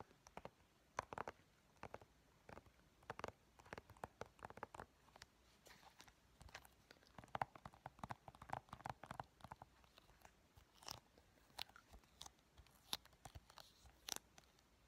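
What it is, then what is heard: Plastic game case. Medium-length painted fingernails tap and scratch the front and back covers of a hollow, hand-sized, green-edged plastic Xbox 360 game case for Eragon, held in both hands. Quiet, sharp, hollow clicks come in irregular bursts, with soft scratchy rustles between them. Each tap dies away almost instantly.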